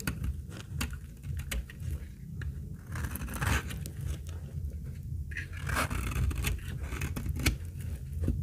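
A utility blade scrapes shavings from the edge of a very old, dry, solid amber translucent laundry soap bar held in the hand. Repeated short, dry scraping strokes and crisp crackles sound over a steady low rumble, with brief bright clicks as the shavings come away.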